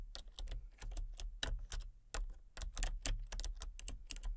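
Fingertips and long painted nails type rapidly on a full-size backlit plastic RGB computer keyboard with hollow key switches and colour-cycling lights. Quick, bright, clicky key taps come in uneven bursts over a steady low hum.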